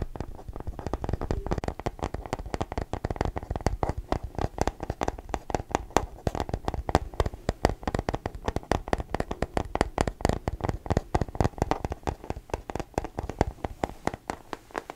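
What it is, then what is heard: Rubber-coated plastic case. A small hollow blue case with a matte rubber-coated plastic shell is held in both hands and tapped and scratched with fingertips and nails. The result is a steady, rapid stream of short, dry, muffled taps and soft scratches, mostly low and thumpy with very little bright content, each tap dying away almost instantly.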